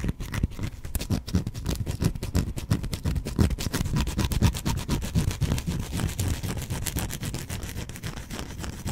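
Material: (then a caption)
Soap. A solid, hand-sized white bar of soap is held in one hand and scratched with fingernails. The result is a steady, dense run of short, dry scratching strokes with a soft, low-heavy texture and little ring, continuing evenly throughout.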